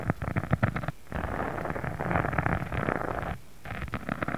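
Fingertips scratch and rub across a thin pink embossed faux leather sheet lying flat. The result is a dense, low, rumbling scratch texture with quick gritty bursts, broken by two brief quiet pauses.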